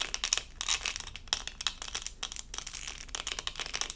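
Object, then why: Resin rhinestone sticker on plastic backing. A small, thin, flat doll-shaped diamond-painting sticker covered in resin rhinestones on a plastic backing is held in both hands and scratched with long acrylic nails. A quiet, rapid stream of bright, crisp scratches and crackly clicks runs continuously with very little low end, each contact dying away almost instantly.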